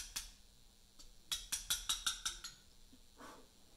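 A small mallet strikes a steel chisel held against a large solid Portland limestone memorial block during letter cutting. One bright tap is followed by a quick run of seven sharp, metallic clinks with a short ring near 3.7 kHz. A softer, duller scrape comes near the end.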